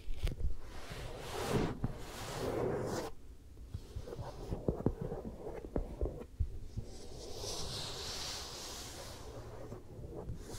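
Fingertips and long nails rub and lightly scratch the face and cheek of a smooth vinyl or rubber mannequin head with ear plug holes. The close, low, muffled rubbing and thumping rumbles along, punctuated by soft scratchy strokes and brief sharp clicks, with a faint bright hiss rising near the end.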